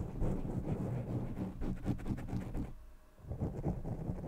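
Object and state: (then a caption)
Foam microphone windscreen rubbed and tapped. Fingertips of both hands continuously rub, scratch and tap a black foam windscreen covering the top of a large blue condenser microphone. The result is a dense, muffled, boomy rustling and thumping concentrated in the low end, with almost no bright content. The sound briefly drops away around the three-second mark before picking up again.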